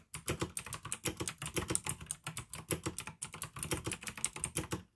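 Fingertips type steadily on a pink AUKEY plastic mechanical gaming keyboard with blue switches, producing a fast stream of crisp, bright clicks with a low thock underneath each keystroke. Each click stops almost instantly, and the rhythm pauses briefly around 1.4 and 3.2 seconds before resuming.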